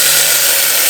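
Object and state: Nothing is struck.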